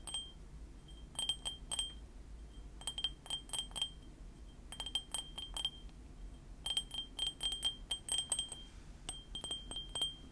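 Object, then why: Ceramic mug. A small white printed ceramic mug with Panda Kopanda cartoon prints, hollow with its contents not visible, is held in both hands close up and tapped with fingernails and fingertips. Quick bursts of bright, clicky taps carry a ringing pitch near 3.2 kHz and die away almost at once. A low, steady rumble sits underneath.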